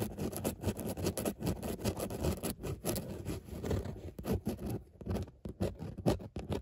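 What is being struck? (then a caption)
Padded textile car seat upholstery. Long nails scratch back and forth across a padded grey textile car seat upholstered with raised embossed dots. The result is a steady run of soft, low, rustling scrapes that come in quick, uneven strokes.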